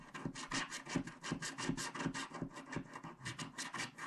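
A wooden stylus makes quick, dense scratching strokes across a flat, coated paper scratch-art card resting on a cloth surface, scraping off the black coating while the other hand steadies the card. The result is a quiet, rapid, slightly irregular series of dry, rasping scrapes with bright hiss and a soft low body under each stroke.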